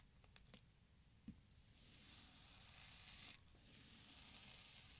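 A twisted metal spoon scrapes and scoops into the side of a small, solid orange kinetic sand cube resting on a white surface, breaking off crumbly chunks. A few faint ticks and a sharp click lead into a soft, grainy hiss of scraping that builds, cuts off, and then returns as a second gentle scrape. The sound is quiet and mostly bright.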